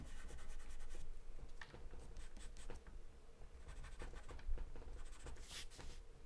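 A wooden pencil held in the fingers scribbles and scratches across a large sheet of white drawing paper taped flat on a dark surface, the paper partly covered in charcoal or graphite. Quick bursts of dry, papery scratching strokes come in an uneven rhythm, some rapid and dense, others slower, over a faint low hum.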